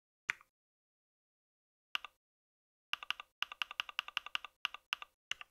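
Fingertips type on a compact white mechanical keyboard with plastic keycaps, producing bright, clicky key taps. After a single tap and a long silence comes another isolated tap, then a quicker run of keystrokes with short pauses. Each tap is sharp with almost no ring and no low end.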